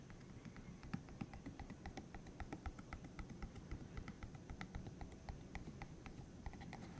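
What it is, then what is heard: Silicone spiky massager tapped and scratched. Fingertips tap and scratch across the soft spikes of a bright green, hollow, cylindrical silicone massager about hand length, held in the other hand. A rapid, slightly uneven stream of short, dry clicks and patters comes through over a soft, low rumbling background. Each tap dies away almost instantly, with a bright edge on top.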